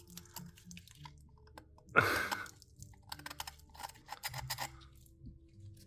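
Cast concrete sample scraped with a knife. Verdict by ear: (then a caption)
Hard. A knife is scraped across a cast concrete sample, giving one sharp, loud grinding rasp followed by a string of quieter, brittle scratches and ticks. The surface resists the blade, proving much harder than the other casting.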